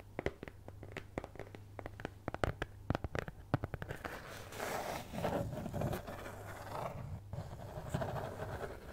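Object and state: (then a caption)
Cardboard cutout tapped and scratched. Long nails tap and scratch a flat brown kraft cardboard cutout (possibly thin fibreboard) shaped like a cat's head, held in both hands close to the mic. The first four seconds are a quick series of sharp, dry taps; these give way to a continuous rasping scratch with bright, airy texture. A steady low hum runs underneath throughout.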